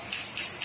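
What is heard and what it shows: A forged aluminium racing piston for a Jupiter 130cc road-race engine is tapped a few times to judge its strength by sound. Each tap gives a clear, shrill, high metallic ring that fades quickly. The bright, piercing ring marks it as a hard piston.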